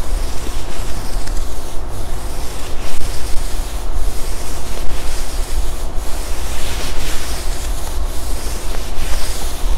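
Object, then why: Quilted nylon puffer jacket. Fingertips rub and scratch the padded sleeve of a black quilted nylon puffer jacket being worn. The result is a steady, dense rustling and scraping with a strong low, muffled rumble underneath, moving in a rhythmic back-and-forth pattern of strokes with no clear breaks between them.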